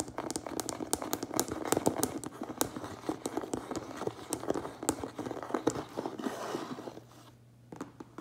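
A closed cardboard Priority Mail box lies flat while the fingertips and nails of both hands quickly tap and scratch its front face. Rapid, dry, crisp taps with very short decay mix with papery scraping and crinkling. Near the end the activity briefly drops to a low, steady hum before a few final taps.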